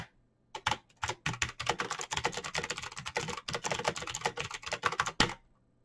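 Fingertips type fast on the keycaps of a black plastic mechanical keyboard with clicky switches. A rapid run of sharp, bright clicks with short clacky tails goes on for about five seconds, with a faint steady low hum underneath. It ends on one louder keystroke.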